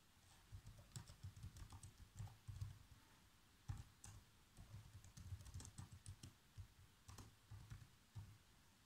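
Fingertips press the black plastic keys of a laptop keyboard in quick typing taps. The soft, low, thuddy clicks come in uneven bursts with short pauses, and a few strokes carry a bright tick.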